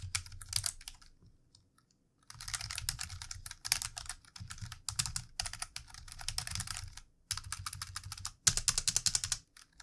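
Fingertips of both hands type on a plastic computer keyboard, a lit mouse sitting nearby unused. Bursts of quick, bright key clicks come in runs separated by short pauses, with a low thump under each burst and a near-silent gap early on.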